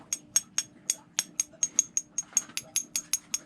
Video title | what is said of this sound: Extremely Unique Lapidary Shop Tour | very tinny sound to it. It'll actually give a musical note if it's tapped with the right material.